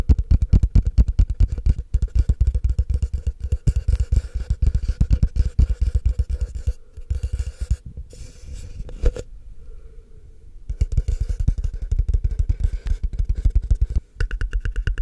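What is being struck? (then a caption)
Plastic cup. Fingertips and short nails rapidly tap and scratch the walls of a tall, empty, hollow frosted translucent plastic cup held upside down, giving quick hollow thuds with a low, boomy resonance and light scratchy texture. The dense tapping thins out with brief gaps in the middle, goes quiet for about a second, then resumes at a steady pace.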